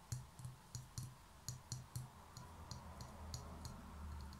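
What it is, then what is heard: Concrete pen holder tapped with nails. Long nails tap the rough outer surface of a small, hollow grey concrete pen holder held on its side. Thirteen quiet, sharp clicks are heard, each with a bright, high tick over a dull, low knock that dies away almost at once. The taps are unevenly spaced, and the later ones grow softer.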